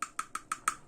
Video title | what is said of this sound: Mon travail ruiné ! (la vérité sur l'impression 3d) | vous entendez ça sonne creux